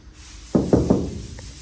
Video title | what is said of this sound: Final prep of the Ghibli body | what you can't see but you can hear is metal